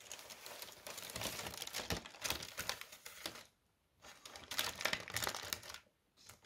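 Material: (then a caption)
Paper. Fingertips with short nails tap and scratch across a thin white tissue paper sheet spread flat on a white table. Bursts of bright, dry crinkling and rustling are broken by two brief silent pauses.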